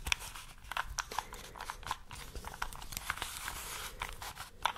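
A small solid plastic 3x3 Rubik's cube with colored stickers, held in both hands, is tapped and scratched with long nails and fingertips while its layers are twisted. This produces a quick run of sharp, bright clicks and crackly scrapes with a soft rustle underneath. Each sound stops almost instantly.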